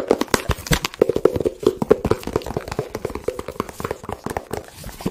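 Fingertips tap and handle a small, hollow blue and white printed cardboard product box close to the microphone. Quick, irregular taps sound dry and hollow, each with a short midrange knock and almost no ring. Softer rustling and handling fill the gaps between them.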